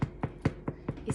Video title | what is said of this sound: 2 February 2020 | if you touch it through here it sounds hollow so I assume that is cooked